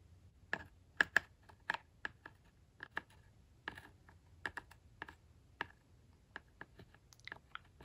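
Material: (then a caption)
Plastic. The metal-tipped point of a glitter tracing tool traces and scratches the embossed logo on the red hollow plastic roof of a toy barn. About 17 sharp, dry clicks and scrapes sound, each bright around 1.7 kHz and dying out almost instantly, with quiet gaps between them.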